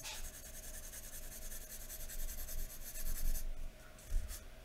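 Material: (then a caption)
Paper. A graphite pencil held in the fingers scratches lines along the neck area of a drawing on thin white drawing paper lying flat on a wooden table. A steady, bright scratching rasp runs for about three and a half seconds, then drops away before a brief, sharper stroke near the end.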